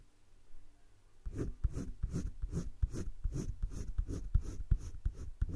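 A hand rubs the tip of a green colored pencil in short strokes over thick cream drawing paper in a spiral-bound drawing book lying flat, shading a heart-shaped leaf. After about a second of near silence, a steady run of about 13 soft, dry scratching strokes begins, each a brief rasp with a low rumble and a faint bright hiss. The strokes repeat quickly but unevenly at a quiet level.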